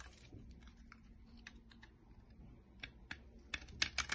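A utility-knife blade shaves the face of a solid, dry, olive-green olive oil soap bar embossed "Pirina Dalan" into flakes. Soft, scattered scraping and bright crackly ticks build into sharper, louder crisp scrapes toward the end.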